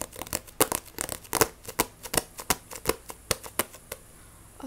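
A Shaman King paperback manga with a glossy cover is scratched and tapped with long nails. The result is a fast, uneven run of about 19 short, dry, bright clicks and scratchy crinkles with no ring, over a quiet background.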